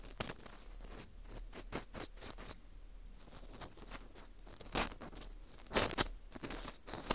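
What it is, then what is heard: Dried wheat gluten ring scraped. An orange plastic earpick scrapes inside the hole of a porous dried wheat gluten ring (fu) held in gloved hands. It makes a series of quick, dry, bright scratching and crunching strokes over a faint steady low hum, with the sharpest scrapes near the end.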